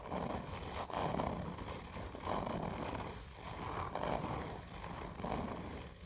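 A hand with long nails scratches hard and slowly near the end of a hollow, black textured cardboard whisky tube. Each slow stroke makes a rough, scraping rasp with a hollow, boxy resonance, swelling and fading in a loose, uneven rhythm.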